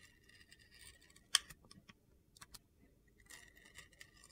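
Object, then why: Glitter-coated bar soap. A utility knife blade carves and shaves the side of a blue glitter-coated bar of soap. Quiet, bright, gritty scraping and crunching is heard, with one sharp, louder click partway through.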